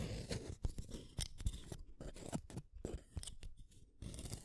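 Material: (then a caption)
Wood. A solid purple wooden colored pencil is shaved with a small metal blade. Short, crisp scraping strokes with brief crunchy bursts repeat in an uneven rhythm, some sharper than others, over a quiet, low rumbling background.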